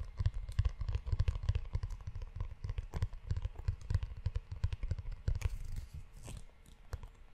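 Fingertips and short nails tap and scratch the leather cover and spine of a closed, hand-sized brown leather-bound notebook with a solid book block, held close to the microphone. Rapid, dull, low thuds mix with soft scratchy rustles, each tap dying away almost instantly. Toward the end the tapping thins out into quieter, brighter scratching.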